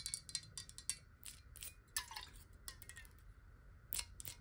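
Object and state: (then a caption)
Glass water bottle. Long nails tap slowly on a clear glass bottle held horizontally with water inside. The taps come as quiet, bright, short clinks with a high ringing tone that fades almost at once, over a faint low rumble.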